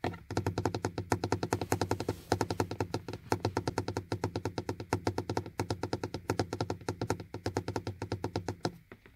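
Fingertips and nails tap repeatedly and quickly on the hard, dark, hollow molded plastic window-switch panel of a car door armrest. The run of short, dull, hollow knocks is steady, each with a low thunky body and almost no ring. The taps continue almost without pause for about nine seconds before trailing off.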